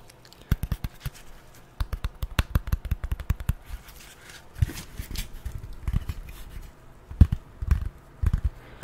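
Long nails tap and scratch the surface of a folded piece of brown corrugated cardboard held in one hand. Quick runs of dull, low, thudding taps with almost no ring alternate with softer scratchy, rustling stretches around the middle. The taps then return in a few sharper, isolated bursts.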